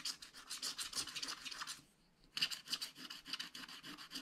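A wooden stylus scratches and rubs fast across a flat, spiral-bound, wax-coated scratch-art paper pad, removing the black coating over a coloured layer, with an unused brush lying at the side. Quick, bright, papery rasping strokes come in a dense, irregular run, pause briefly near the two-second mark, then resume just as busily.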